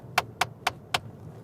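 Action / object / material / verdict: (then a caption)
tap / car dashboard top, plastic, tapped with a metal ring / hard plastic / hard. A ring is tapped four times on the hard plastic dashboard top of a VW T-Roc, giving short, sharp clicks with almost no ring-out. The hard surface is judged poor quality for a car starting at 19,000 pounds, worse than the dashboard top in a Polo.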